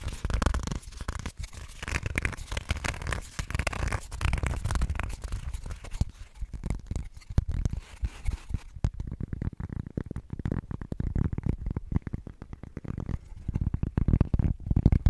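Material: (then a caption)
Cork. A small, flat, square cork-backed printed coaster is turned from its printed side to its cork back, and long nails tap and scratch the cork surface. A dense, rapid stream of dry scratching and tapping is heard, mostly low and muffled with almost no ring. Partway through, the brighter scratchy hiss falls away, leaving duller, thuddier taps.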